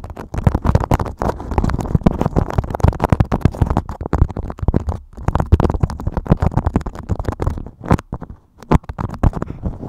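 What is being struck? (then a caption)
Beeswax-coated cotton wrap. Fingertips and nails scratch and crinkle a thin beeswax-coated cotton food wrap draped over a microphone. The result is a dense stream of rapid, close crackles and scrapes, heavy in low rumbling thumps with little high-end content. It breaks only briefly, around four seconds and again just after eight seconds.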